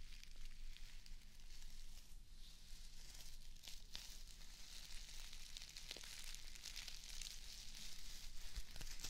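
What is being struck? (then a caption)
Plastic artificial grass square. Long acrylic nails scratch and brush a small square of plastic artificial grass held in one hand. The result is a continuous crackling, sizzling rustle with a bright, hissy texture and occasional sharper scrapes, over a faint low hum.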